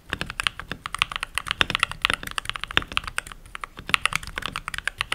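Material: Plastic.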